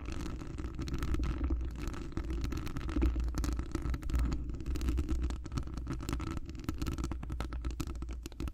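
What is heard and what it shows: Long acrylic nails on both hands scratch across a hollow metal wire-mesh microphone grille. The result is a dense, continuous scratching crackle over a heavy, booming low rumble, with a faint steady tone in the middle. It holds at a fairly even level throughout, with brief swells and dips.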